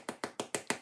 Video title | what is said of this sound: How to make artisan bread | And if you're unsure, flip your bread over. Give it that tap, you'll hear the hollow sound. And that's a good way to ensure that your bread is done.